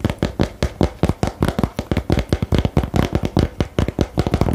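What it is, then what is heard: Cardboard game box. A small printed 'Geheimakte' cardboard game box is held while fingernails tap quickly on its lid. The taps come in a fast, uneven run of short, dull knocks, heavy in the low end with a hollow papery thump and almost no ring after each hit.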